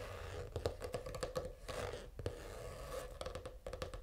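Short fingernails scratch a purple faux-leather, reptile-textured notebook cover lying flat. The result is a series of short, dry, close-up scratching strokes with quick sharp transients over a low, steady background and a faint tonal hum near 490 Hz.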